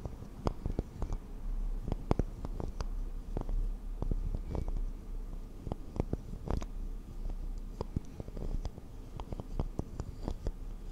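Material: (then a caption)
Wax. A small, solid, pale pink wax candle shaped as a cube of bubbles is held in hand and tapped and scratched with long acrylic nails. Dull, dry, low-pitched taps land in a quick, uneven series over a soft continuous scratching rustle, with each tap dying away almost instantly.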